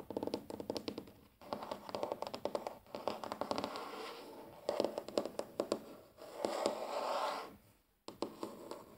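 Fingertips and short natural nails of both hands tap and scratch a large, flat, solid wooden tabletop. Quick, dry taps with almost no ring come in fast clusters, broken by brief pauses near 1.4 and 8 seconds. Softer, sustained scratching swells in between, especially around 6.5 to 7.3 seconds.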